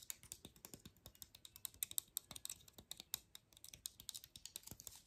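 Long nails tap and flick the scale tips of a dry, open pine cone held low. A rapid, uneven stream of quiet, sharp, dry clicks follows, each one bright and very short with almost no ring, so the run sounds much like fast typing on a keyboard.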